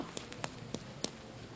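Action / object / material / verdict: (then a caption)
tap / plastic doll head / plastic / none. Five light, dry taps on the hard plastic head of a doll with a cloth body, spaced unevenly over about a second. Each tap is a brief, bright click with almost no ring, heard over a faint steady hiss.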